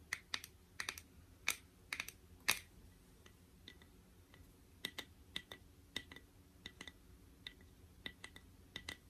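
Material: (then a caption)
Metal. A small, shallow, round metal tin of My Melody shea butter is held in the hand while its lid and rim are tapped with the fingernails. About two dozen quiet, bright, sharp clicks come in irregular bursts, each dying away almost instantly, with a faint low background hum beneath them.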